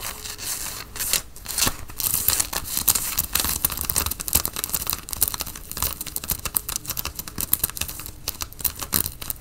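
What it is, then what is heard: Cotton fleece sweatshirt. Fingernails scratch the chest and the logo tape of a worn grey Nike cotton fleece sweatshirt. Dense, bright, raspy scratching runs throughout in quick, uneven strokes with sharp bursts. There is a soft low rumble of fabric underneath.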